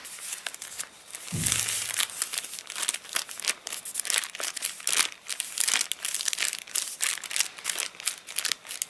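A thick, open paper catalogue whose pages dried crinkly after getting rained on is handled: one page is crinkled, then flat palms and fingers rub over the pages. The result is a dense run of bright, dry crackling and rustling bursts with almost no low end, plus a brief soft thump early on.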